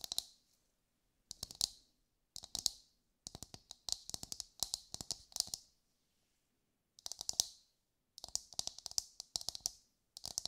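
A brown, husked whole coconut with a hard, fibrous shell is held in both hands and tapped with long, light-grey nails. Quick bursts of crisp, bright clicking taps come in clusters separated by short pauses. The taps are dry, with almost no low end and no ring.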